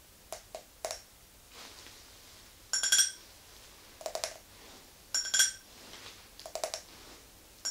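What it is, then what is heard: Drinking glass. Long nails tap and scratch on an empty clear glass tumbler with a ridged base, held in the hand. Quick bright clicks come in small clusters, mixed with soft scratching swipes. The louder taps leave a short, high glassy ring that fades almost at once.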